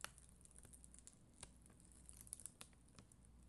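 A spoolie brush scrapes slowly across a flat acrylic rhinestone sticker sheet covered in red and clear acrylic gems. Quiet, bright, crackly scratches and tiny clicking ticks come at an irregular pace over a steady low hum.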